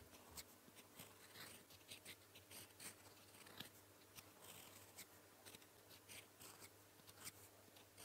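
A gold metal fountain pen nib, held in the fingers, writes blue characters across a flat sheet of lined paper. It makes a quiet, bright scratching with short stroke bursts over a low steady hum.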